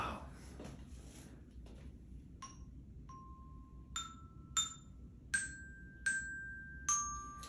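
A small children's toy glockenspiel, about 30 cm long with rainbow-colored metal bars on a wooden base, lies on a brown surface inside a toilet bowl and is struck with a thin wooden mallet. After a short stretch of faint rustling, bright, clear single notes ring out one at a time with quick decay, moving mostly upward in pitch. A low background rumble runs underneath throughout.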